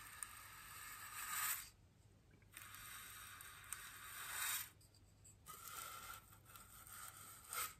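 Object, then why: Polystyrene foam ring brushed with a bristle brush. A small bristle paintbrush brushes and presses against the inner and outer surface of a large, solid white polystyrene foam wreath ring. It makes bright, scratchy scraping strokes in long swells, separated by quiet pauses. The sound is dry and hissy, with a steady high squeak-like tone running through it.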